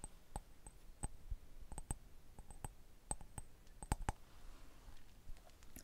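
A round, hollow, mosaic-patterned glass candle holder with a small candle inside is held in one hand and tapped with the fingertips and nails of the other. An irregular series of quiet, sharp clicks follows, each with a brief bright glassy ping that dies away almost at once over a faint low background.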